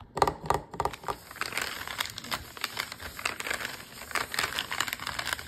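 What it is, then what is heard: Crinkly plastic food package. Fingers and a palm rub and scratch the crinkly surface of a full, flat plastic food bag of M&M's sugar cookie dough lying on a counter. Dense, dry crinkling and crackling bursts follow one another with almost no low end and a bright, papery hiss. Each rustle stops short, leaving a steady patter of close, crisp crackles.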